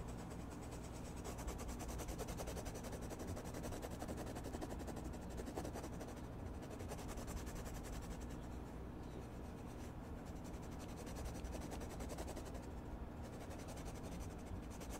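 A red wooden colored pencil shades a drawn mushroom on a spiral-bound paper sketchbook lying flat on a desk. Steady back-and-forth scratching strokes continue at an even, quiet level over a low hum.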